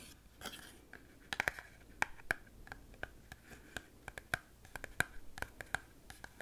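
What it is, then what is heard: Cardboard chewing gum box tapped with fingernails. A small, hollow Glee Gum cardboard box held in both hands is tapped and scratched on its face and edges with long pink-painted fingernails. Sharp, dry taps with a faint hollow ring around 1.6 kHz are scattered over soft scratching, with possible faint whispering underneath.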